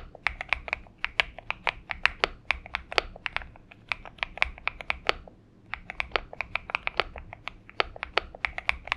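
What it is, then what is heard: Mechanical keyboard with PBT keycaps. Fingertips on both hands type on a purple Xinmeng M71 mechanical keyboard with PBT keycaps. The result is a steady run of dozens of sharp, bright clacks with almost no ring, pausing briefly around the five-second mark before resuming.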